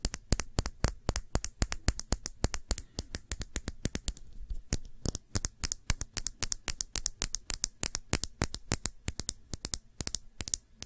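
A small Sephora nail polish bottle, glass with a black cap and filled with dark polish, is held in the fingers and tapped with long nails. About seventy quick, sharp, bright clicks come in an irregular rapid rhythm, each dying away almost instantly over a faint low hum.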